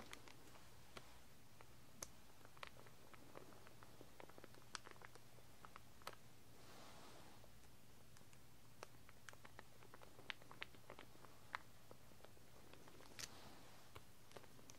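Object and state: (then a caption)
Plastic comb in crinkly wrapper. Long red-painted nails scratch and tap across the clear, crinkly plastic wrapper of a large, solid, wide-tooth pink plastic comb held in one hand, right over the comb teeth. The quiet clip is a scattered run of sharp, dry clicks and ticks with brief bright crinkling swells, all over a steady low hum.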